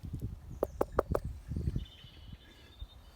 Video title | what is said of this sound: Dryburgh Abbey - 12th century ruin | If I knock on this one, yeah, that sounds hollow